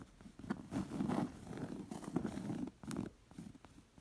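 Long painted nails and fingertips scratch and trace the raised floral thread embroidery on a round, soft, stuffed embroidered cotton pillow with pink fringe. The result is a soft, low, rustling scratching in uneven bursts, with brief brighter flicks and quiet gaps between strokes.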